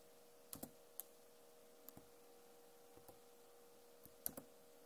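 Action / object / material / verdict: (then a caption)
tap / plastic laptop keyboard keys / plastic / none. Long nails tap and type on a backlit plastic laptop keyboard, making short, sharp clicks in small pairs and singles spread over a few seconds. Each click is crisp with a bright edge and dies away almost at once, over a quiet, steady low hum.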